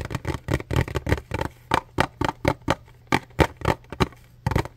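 Fingertips and nails tap and scratch a small, hollow, light blue printed paperboard product box held close to the mic. The result is a series of short, dry, papery knocks with a hollow low thump under each one, broken by brief scratchy rustles. Each knock dies away almost instantly.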